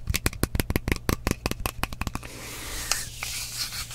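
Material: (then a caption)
Glass. A partly filled frosted glass mist bottle with a metal cap is tapped quickly on its side with fingernails, giving about 17 sharp, bright clicks over roughly two seconds. The tapping then stops, leaving a soft hiss with a faint brushing sound and a steady low hum underneath.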